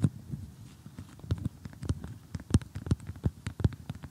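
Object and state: Cardboard jigsaw puzzle.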